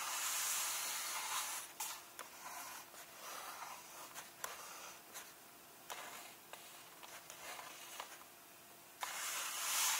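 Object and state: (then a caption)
Paperback book pages tapped and rubbed. A fingertip taps and points on the paper pages of an open paperback illustrated book resting on its final spread, then both hands rub the pages. About eight short, crisp taps stand out between bright, hissy stretches of paper rubbing, which are loudest at the start and end.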